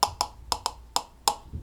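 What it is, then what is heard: Plastic cup tapped with a spoon. A plastic cup is tapped like a drum with a spoon on its bottom and side, and tapping the side gives a different sound. Six short, dry, hollow plastic taps ring briefly with a bright click, each dying away almost at once.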